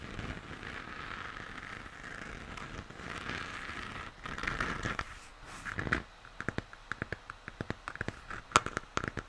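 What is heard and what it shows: A hollow plastic moon lamp is held in both hands, base toward the front, while fingernails scratch across its textured surface in a steady, rustling hiss with a raspy band around 1.3 kHz. After about five seconds the scratching gives way to a run of short, sharp, crackly nail taps on the hollow plastic that cut off almost instantly.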